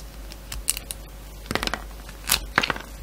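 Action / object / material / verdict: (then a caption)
scrape / solid soap bar cut with a blade / soap / none. A yellow box cutter shaves and cuts into a solid soap bar, blue with glitter on the outside and light blue inside. Short, crisp, bright scraping strokes come in quick clusters over a quiet background, with the sharpest bursts near the middle and end of the clip.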